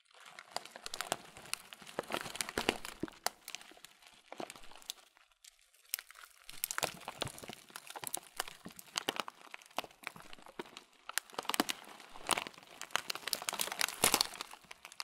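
A transparent thin plastic bag, partly full of oat muesli with raisins, is squeezed and crinkled with fingers and thumbs. Dense, bright crinkling and crunching crackles come in uneven bursts, with a brief quiet pause near the middle. There is almost no low end.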